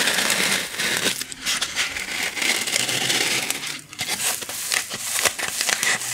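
A small white styrofoam packing block is held upright and scratched and tapped with long nails. The result is a continuous bright, dry crinkling and squeaky scraping, with sharp clicks from the taps and brief dips between strokes.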